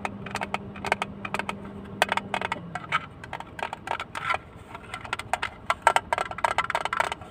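A small, hollow blue plastic hinged box is held close and tapped with fingertips and nails, first closed and then opened. It makes rapid, dry, clicky taps with short bright transients and almost no ring. A faint low steady hum runs under the first few seconds, then drops away.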